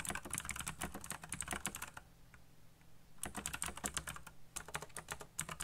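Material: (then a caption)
Plastic. Fingertips type fast on a backlit black plastic mechanical keyboard with RGB lighting and hollow key switches, producing rapid bright, clacky taps with short, hollow low thumps beneath. The typing runs in two quick bursts separated by a brief pause of quiet near the middle, over a faint steady low hum.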